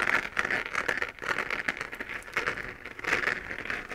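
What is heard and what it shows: Long painted nails scratch across a hollow, textured 3D-printed plastic moon-lamp sphere glowing pink while it is held. The result is a dense, dry crackling and scraping texture with quick, short ticks. It is centered in the upper mids with a bright edge and almost no low end.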